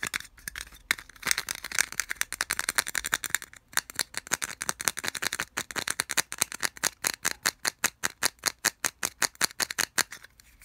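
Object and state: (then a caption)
Plastic earphone case. Fingertips and nails scratch and flick rapidly across the ridged cable-wrap slots of a small hollow white plastic earphone storage case held in one hand. The result is a fast run of dry, bright plastic ticks and rattling scrapes with almost no low end. The scratching starts as a dense blur and settles into a steadier, evenly spaced clicking toward the end.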